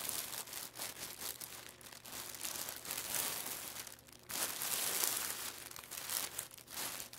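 Both hands rub and press a flat, layered clear plastic packaging bag with a barcode label, crinkling the thin plastic film with fingertips and palms. A steady, bright crackle of crinkling and rustling runs throughout with almost no low end, dipping briefly just before the 4-second mark before surging louder again.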